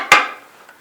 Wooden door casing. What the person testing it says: if you tap on it, they would have discovered that it was hollow, full of dirt